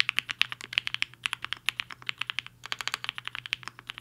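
Fingertips of both hands type fast on a compact HI-FINGER 7.5 mechanical keyboard with a black case and white and pink plastic keycaps, resting on a desk mat. About 35 bright, sharp clacks come in a quick, uneven run, each clack dying away almost instantly. The bursts sound clicky and high, centered around 2.7 kHz.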